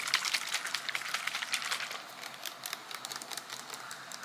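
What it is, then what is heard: Plastic gel bottle. Fingernails rapidly tap a green transparent plastic bottle with a barcode label, filled with liquid. The taps are quick, bright, irregular clicks with almost no low end. They are louder in the first two seconds and then continue more softly.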